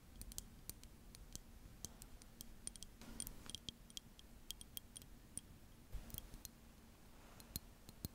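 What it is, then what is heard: Glass facial ice globe. A small blue liquid-filled glass facial cooling globe with a handle, held in both hands, is tapped and scratched with long manicured nails. About thirty quick, bright glassy clicks sound over a low steady hum, with brief stretches of soft scratching. Each tap ends almost at once, leaving no ring.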